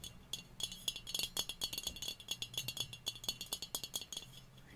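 A hollow stainless steel cocktail shaker, held in the hands, is tapped with the fingernails on its body and cap. Rapid, light, bright metallic clicks ring with a high tonal shimmer and die away almost instantly. The taps come in quick, uneven clusters over a faint low background hum.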